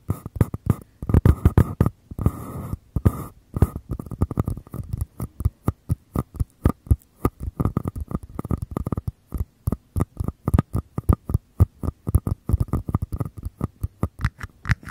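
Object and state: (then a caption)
Small paper cups. Fingertips tap and scratch the outer walls of two identical small empty paper cups, their hollow open mouths held near a Tascam microphone. Dozens of quick, dry, hollow taps land in an uneven rhythm with a boomy low thump and a faint papery ring, broken by brief scratchy rubbing bursts early on. Each tap dies away almost instantly.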